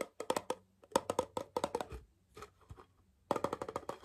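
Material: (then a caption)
Cardboard. Fingers tap and knock on a cardboard crisp tube in quick bursts of about 17 short, hollow knocks with a mid-pitched tone near 500 Hz. A quieter stretch of softer rubbing and light taps falls between the bursts. Each knock dies away almost at once.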